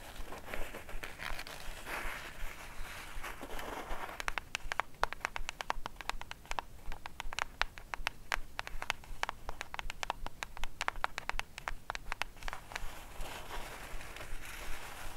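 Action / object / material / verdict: tap / small cardboard gift box / cardboard / none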